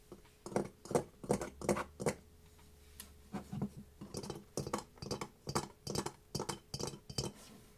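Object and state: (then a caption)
Ceramic mask. A ceramic mask is tapped in a loose, uneven rhythm of short, clinking, glassy knocks. The knocks have a midrange tone and die away almost at once, with a brief pause partway through. Each tap has a bright edge over a quiet background.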